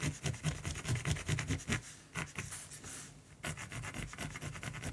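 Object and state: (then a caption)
Pencil scratching on primed canvas. A black mechanical pencil shades a raven's beak and throat on a flat, solid primed canvas in fast back-and-forth strokes, with fingers held close to the surface. The result is a quick, steady run of bright, raspy scratches over a soft low rubbing, with a brief quieter stretch before the rapid strokes resume.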